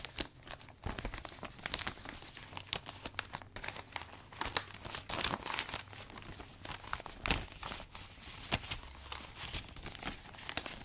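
Hands fold and smooth the loose vinyl of a new butterfly-print umbrella canopy. The result is a steady stream of dense, bright crinkling and crackling with sharper snaps scattered throughout, over a faint low hum.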